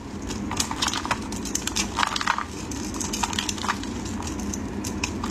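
A solid white bar of soap, held in hands wearing pink finger cots, is shaved and carved with a metal utility blade into dry, crumbly flakes. Many quick, crisp scraping crackles with bright, short snaps centered around 1.2 kHz sit over a steady low rumble throughout.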